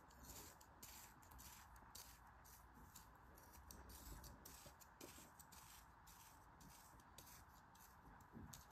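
A thin metal craft knife blade scores a grid into a palm-sized, solid pressed block of pink kinetic sand held in one hand, then slices through it and cuts into the crumbling sand. Quiet, continuous gritty scratching and crunching fills the clip, with a steady band of rasp in the mid range and brief brighter scrapes as the blade drags through.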